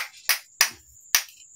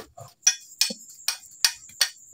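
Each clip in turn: First: Three sharp, bright hammer strikes on zinc scrap leave a faint high metallic ring: hard metal, not dead lead. Second: Hammer blows on lead scrap give short, clicky ticks that die at once, with no ring.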